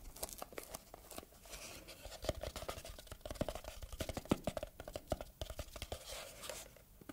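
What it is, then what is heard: Cardboard gift box. A small red textured cardboard gift box with a ribbon is turned in the hands while long red nails scratch and tap its sides and lid. Dense, quick clicks and papery scratches overlap with a soft crinkling hiss, with some taps ringing with a faint hollow tone.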